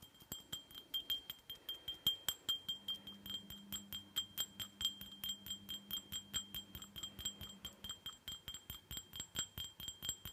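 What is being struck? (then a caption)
Small glass tumbler. A small, empty, hollow red glitter glass tumbler held in one hand is tapped rapidly on its rim and sides with fingernails, about 47 quick, uneven taps. Each tap clicks sharply over a steady, bright ringing tone near 3.2 kHz, with a faint low hum underneath in the middle of the clip.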